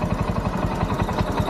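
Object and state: Nothing is struck.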